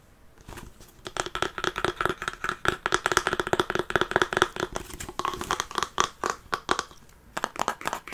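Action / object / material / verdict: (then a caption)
tap / wooden chest covered in faux leather / wood, faux leather / none. Fingernails tap and scratch across a larger hollow wooden treasure-chest box with a dark brown faux-leather surface, metal studs and a latch, held in the hands. The result is a fast, uneven run of dry, clicky taps and crinkly scratches with a faint hollow resonance around 360 Hz. Each hit dies away almost instantly, with brief pauses between bursts.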